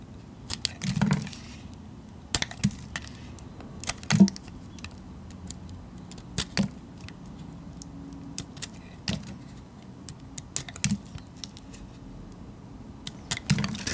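A metal utility blade scrapes and cuts thin slices from a smaller remaining piece of a solid cream-colored painted soap bar held in the fingers. Short, sharp, bright cutting clicks and scrapes come at irregular intervals over a quiet, steady low hum.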